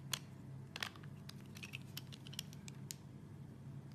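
A hand-sized, solid translucent red soap bar held in one hand is shaved with an orange plastic Y-peeler with a metal blade, its scraping strokes pulling off thin curls. Short, crisp, bright scraping and crunching bursts come at an irregular pace over a steady low hum. Each stroke cuts off quickly with almost no ring.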